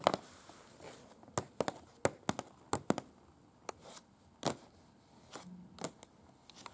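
Long pointed acrylic nails tap and scratch a large unfolded sheet of thin printed paper with photos and text, a museum guide lying flat. Crisp, dry clicks and brief papery rustles come in a loose series of sharp, quickly fading taps, with soft scratching between them in a quiet small space.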